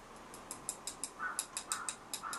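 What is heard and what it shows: A fingernail taps repeatedly on the hollow carbon fiber leg tube of a DiC&MiC P303C (now INNOREL RT75C) 175cm tripod, which has a smooth stripe-pattern finish. About ten light, bright clicks with a short, slightly hollow ring are heard. The tube sounds hollow, as expected, and shows no visible defects.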